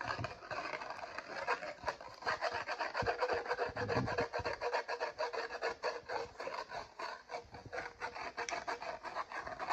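Fingertips rub and scratch the printed foil lid of a Maggi Masala Cuppa instant noodle cup sitting on a glass surface. The result is a steady run of quick, uneven, dry scratching strokes, roughly three to four per second. The sound is mostly midrange rasp with a faint high hiss and little low end.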